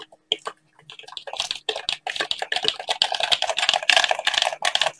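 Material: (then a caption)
Plastic. Gloved fingertips in blue latex tap a hollow black handheld plastic game controller and click its buttons, with likely glove rubbing. Sparse clicks at first give way to a dense, irregular stream of bright, dry plastic taps and clicks that stop quickly with little ring.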